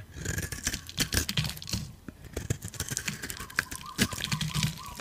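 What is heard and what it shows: A metal utility blade scrapes crunchy curls off a solid yellow-orange dry soap bar held in the palm. Dense dry crunches and scratchy, brittle scrapes follow one another in quick bursts, with bright crackling detail over a low, dull body.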